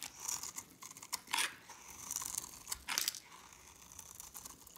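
A solid, hand-sized bar of light pink dry soap, held in a hand with long red nails, is scraped and cut with a metal blade. Dry, crisp crunching and scraping come in quick uneven bursts, bright and thin with almost no low end, as crunchy flakes break away.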